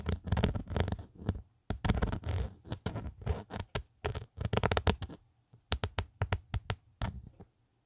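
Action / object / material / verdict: scrape / plastic phone case / plastic / none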